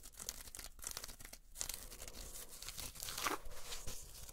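Long nails scratch along the coiled jute rope of a solid espadrille wedge sandal with a canvas upper. The result is a continuous dry, fibrous rasping with bright crackly grit, swelling into a louder scrape near the end.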